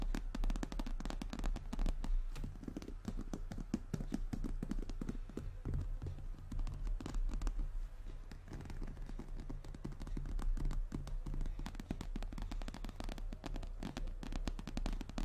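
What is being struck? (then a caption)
Croc-embossed leather handbag. Long nails tap and scratch across the front panel of a medium, hollow, brown glossy croc-embossed leather handbag. The result is a dense, irregular run of quick, short taps with brief scratches, dull and heavy in the low end with little brightness.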